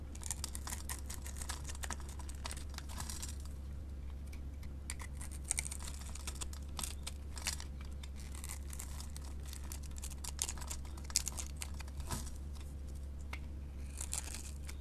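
A metal blade cuts small cubes from a solid white bar of soap held in the hand and scrapes across its surface. It makes a dense run of crisp, bright crackles and crumbly scraping ticks over a steady low hum.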